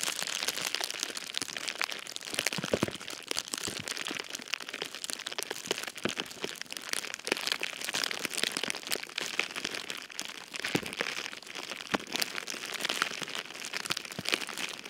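A large, soft, silver foil-faced metallized bubble insulation liner with hollow air-filled bubbles, lining a cardboard box, is gripped with both hands and its top fold scratched and crinkled by fingertips and short painted nails. The result is a steady, bright, hissy crinkling full of quick, sharp crackles, with almost no low end.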